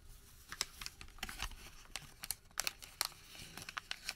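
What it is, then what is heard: Thermal paper receipt. A thin white thermal paper receipt is folded and then crumpled into a small ball with the fingertips. It gives quiet, bright, dry crinkles and sharp crackling snaps that die away almost instantly, with a few louder pops near the end.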